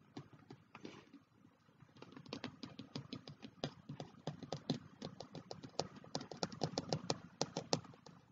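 Bare fingertips with short nails tap and patter on the brown kraft cardboard cover of a closed A5 spiral-bound notebook, which lies on a black hardcover diary with both hands resting on it. About thirty short, dry, muted taps are heard, sparse at first with a brief pause. They then become a quicker, uneven patter that grows slightly louder toward the end.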